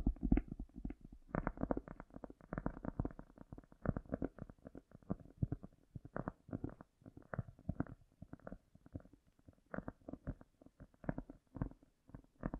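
A cork is tapped and scratched with fingernails, with a strong echo effect added. The result is a dense run of soft, muffled, low-heavy taps with short, scratchy rustles between them, and almost no bright high end.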